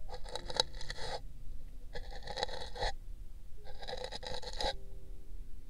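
A thin brush scrapes the outer wall of an empty pink paper cup set on a binaural microphone ear. It makes dry, bristly scratching in separate bursts with short pauses between them, bright and hissy over a low background rumble.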